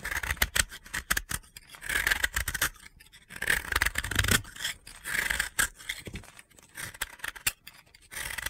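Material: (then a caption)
Soap. A utility blade scrapes and cuts into a solid, dry blue soap block held in the hand, breaking off crunchy crumbs. Short, crisp, gritty scraping bursts with a bright, hissy edge come in quick, uneven runs separated by brief pauses.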